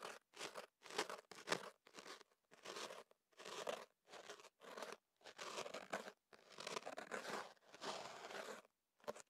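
A thin ear pick scratches and rubs at the opening of a kenaf paper tube wrapped over a microphone. Short bursts of crunchy, crinkly paper scraping come one after another, with brief silences between, some stretching into longer rubbing strokes. The sound is dry and bright with almost no low end.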